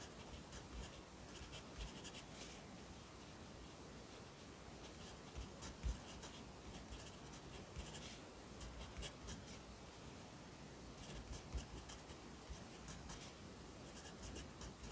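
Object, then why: Pencil on a paper notebook page. A yellow pencil writes on the right page of an open lined paper notebook resting on a desk. The quiet, steady scratching of graphite on paper comes in brighter bursts of strokes over a low, constant background rumble.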